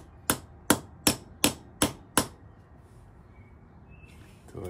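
A long, thin, black hollow steel push rod stands upright on a concrete floor, held by one hand, while a steel ball-peen hammer with a wooden handle strikes the brass end fitting on top to seat it. Six sharp, bright metallic knocks come at a steady pace, each dying away almost at once. Quiet background follows, with a faint rustle at the very end.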